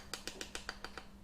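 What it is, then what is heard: Set (hardened) chocolate coating. Seven light, crisp taps on the hard-set chocolate coating of a caterpillar cake give short, bright clicks with a brief ring, confirming the chocolate has set hard. A faint steady low hum sits underneath.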